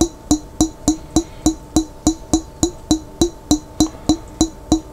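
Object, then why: Glass jar with lid, partly filled with water. Fingertips tap the body of a large clear glass pickle jar with a lid, held sideways and partly filled with water. Seventeen quick, even knocks sound in a steady rhythm, each a short, hollow tone around 300 Hz with a bright, glassy click on top that dies away almost at once.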